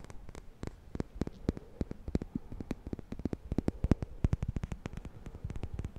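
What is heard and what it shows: Fingernails scratch and flick along the teeth of a black plastic comb with a handle, held in one hand. About 39 quick, dry clicks and ticks come in an uneven, rapid run of roughly three per second, each dying away almost instantly. They carry a soft low thump under a bright snap over a faint hiss.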